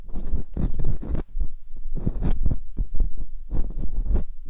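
A metal dental pick and scoop are worked inside the canals of the two soft silicone ears on a white binaural microphone. Close, muffled scratching and scraping comes in repeated bursts, heavy with deep low rumble and little high end.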